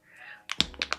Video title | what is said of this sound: NEW! Hung Vanngo Red Carpet Skin Luminous Longwear Serum Foundation #beauty #makeup #dryskin | You can hear that there's like a pebble in there.